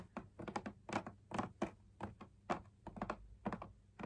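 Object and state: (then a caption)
Fabric drum lamp shade. Fingertips and nails tap the outer wall of a hollow beige drum lamp shade made of fabric on a stiff backing punched with dot circles. About 18 quiet, dry, hollow taps come in irregular bursts, each dying away almost at once. Their muted midrange tone has only a faint bright edge.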